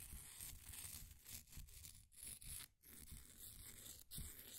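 A flat wooden popsicle stick scratches and scrapes the crumbly surface of a solid, green, ball-sized bath bomb of compressed powder held in a blue plastic ring holder. Dry, gritty scraping and tearing-like rasps run almost continuously, with brief pauses between strokes. A low rumble sits underneath, and bright crumbling grit rides on top.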